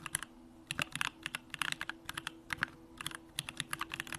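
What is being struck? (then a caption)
Mechanical keyboard with aluminum case and plastic keycaps. A compact Bakeneko65 mechanical keyboard with an aluminum case, Durock lavender switches and pink plastic keycaps is typed on continuously with the fingertips of both hands. Quick, bright clacks arrive in irregular bursts with short pauses, each dying away almost instantly over a faint steady low hum.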